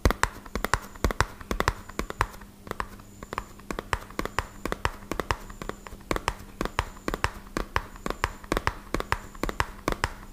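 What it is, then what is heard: Cardboard box tapped with fingertips. A small, hollow, white-and-purple printed cardboard medicine box is tapped rapidly on its faces with the fingertips. The result is a fast, uneven stream of short, dry, hollow taps with soft low thumps and almost no ring, over a faint steady low hum.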